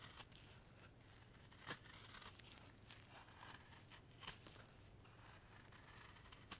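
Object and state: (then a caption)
Wooden block being carved with a knife. A steel knife shaves curls off the end of a solid, pale wooden carving block held in a gloved hand. Soft, dry scraping and crisp rasping strokes sound over a quiet, steady low background. A few sharper, louder bright cuts stand out among the strokes.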